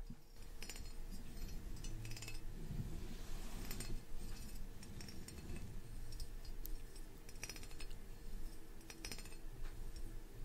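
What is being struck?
Small metal pagoda ornament.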